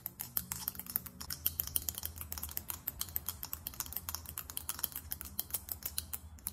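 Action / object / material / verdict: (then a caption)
tap / faceted glass perfume bottle with metal cap / glass / none. Long almond-shaped nails tap rapidly on a small faceted glass perfume bottle with a silver metallic cap. The result is a fast, steady stream of short, crisp clicks with bright, high ticks and almost no ring, over a faint low hum.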